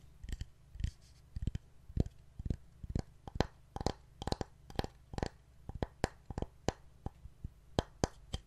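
Fingernails tap and scratch the edge and surface of a painted solid wooden heart plaque decorated with fabric and wooden buttons, held in the hands. About 24 quiet, dry, sharp clicks and brief scrapes come in an uneven rhythm, each dying away at once with no ring, over a steady low hum.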